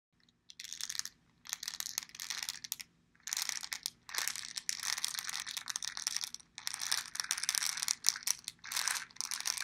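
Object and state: Plastic pill bottle with pills inside.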